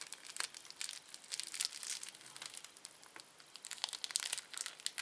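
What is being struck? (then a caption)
Thin plastic candy wrapper. A small, thin, empty red-orange printed plastic candy wrapper is stretched, twisted and crinkled between the fingertips and nails of both hands. It makes a quiet, continuous stream of bright, dry crackles and crinkles with almost no low end, and sharper snaps rise out of it at times.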